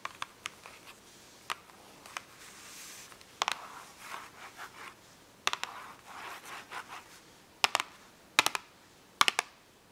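Long acrylic nails tap and scratch the top of a small, closed, printed cardboard box of 8 washable markers, hollow and holding markers, lying flat on paper. About 14 sharp, dry clicks stand out between soft, papery scratching swells, all bright and high-pitched with no low-end body.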